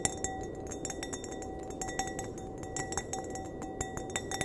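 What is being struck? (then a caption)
Glass wine glass. A clear, empty glass wine glass is held by the stem while its bowl is tapped with the fingernails. A rapid, uneven run of light, bright clinks is heard, each with a short glassy ring, over a steady low background hiss.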